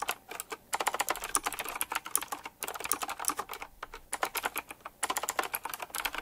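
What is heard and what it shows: Fingertips type fast and continuously on a full-size retro typewriter-style mechanical keyboard with round black plastic keycaps, chrome-look metal rims, hollow key switches and a glossy black and metal frame. A rapid stream of sharp, bright, clicky key taps comes in bursts with brief pauses, each tap dying away almost instantly with little low end.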